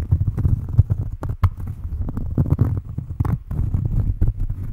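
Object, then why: Cork coaster. Long fingernails scratch and tap a round, flat cork coaster held close to the microphone. The result is a steady run of soft, muffled, low thumps and rustling scrapes with almost no bright edge, each tap dying away almost at once.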